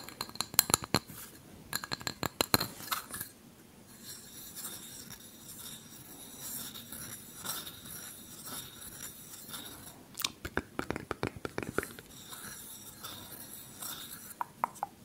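A small, hollow, empty unglazed terracotta kulhad cup is held in one hand close to the microphone while the fingertip and nail of the other hand tap and scratch its outer wall. Quick bursts of sharp, bright, dry clicking taps open the clip, give way to a softer, continuous gritty scratching, then return as rapid tapping near the end. The taps are high and short with almost no ring.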